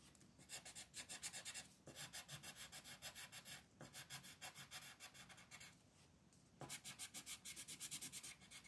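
A multicolor wooden pencil scratches rapidly in dense strokes across a flat printed paper coloring sheet on a desk, while the other hand holds the sheet. The result is bright, dry rasping in quick rhythmic bursts, with brief pauses between runs of strokes.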